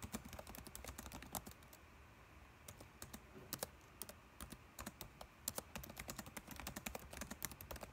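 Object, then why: Plastic laptop keyboard. Fingertips type rapidly on a dark laptop keyboard with plastic keys. It produces a dense stream of short, bright clicks that die away almost instantly, with a soft low thud under each press. The typing pauses briefly near the two-second mark, then resumes in quick bursts.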